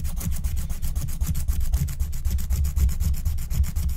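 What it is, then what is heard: Scratch-art card being scratched. A wooden stylus scratches the black wax coating of a flat, thin scratch-art card (wax-coated paper) held by a hand with long nails. Quick, uneven scratching strokes repeat steadily over a heavy low rumble, with faint bright hiss on each stroke.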